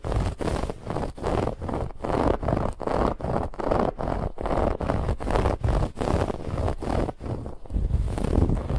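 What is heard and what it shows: Long nails scratch quickly over a soft, stuffed white fabric pillow with a woven textured band. The result is a steady run of dense, rough, scratchy rustling bursts with brief gaps between strokes, heavy in the low and middle range.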